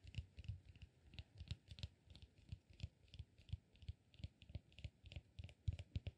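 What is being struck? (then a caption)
Cork peanut-shaped massage ball. Fingertips and nails tap and scratch a solid, peanut-shaped cork massage ball held in both hands. About thirty quick, quiet taps land in an uneven rhythm, each a dull low thud with a faint bright click on top. The taps stop dead with no ring, under a soft scratchy hiss.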